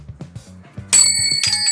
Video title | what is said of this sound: JAPAN SURPLUS AS LOW AS 10 PESOS LANG MAY MABIBILI KA DITO SA SURPLUS SHOP SA AVENIDA | Matining. Nasa maganda yung tunog niya.